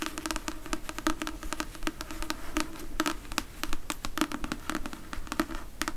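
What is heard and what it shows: Long acrylic nails tap and scratch the glossy card cover and paper page edges of a thick, solid paperback *Red Dwarf* novel held in the hand. The result is a quick, dense patter of short, dry clicks with a bright, papery scratch over a low, soft body, and each tap dies away almost instantly.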